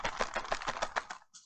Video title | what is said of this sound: How To Peel Loofah and Collect Their Seeds | You can hear the seeds actually rattling around when you shake it